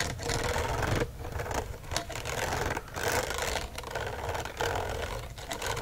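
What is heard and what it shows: Fingernails scratch and flick along the hollow loops of a gold-colored metal wire coil binding on a notebook. Repeated bursts of dense, raspy rattling and clicking have a mid-toned ring near 690 Hz, with brief dips between passes.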